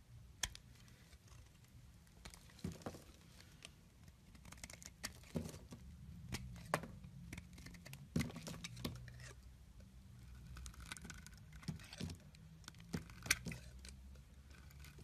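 A solid olive green bar of soap is held in the hand while chunks are cut and scraped off with a metal blade, the shavings piling below. Short, crisp snaps and scratchy scraping sounds come at an irregular pace over a soft, low background rumble.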